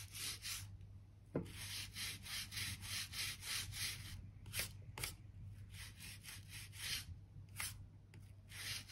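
A gap brush is scrubbed along the seam between old wooden floorboards near the skirting, brushing out dirt and dust. Quick, uneven strokes make a bright, scratchy bristle rasp with a few sharper clicks, over a steady low hum.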